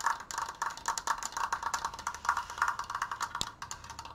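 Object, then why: Stained wooden triangular frame. Fingernails fast-tap the left slat of a large stained wooden Triforce frame held upright. About thirty quick, dry, uneven clicks sound, each centered near 1.2 kHz with bright overtones and almost no ring.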